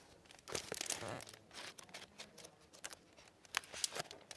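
Paper pages of the hardcover book "Operation Snow" are flipped and turned by hand, then the book is closed, making its plastic-covered dust jacket crinkle. Quiet, bright, papery rustles and sharp crinkly snaps come in uneven bursts, with almost no low end. The book itself stays solid while its pages rustle and the jacket crinkles.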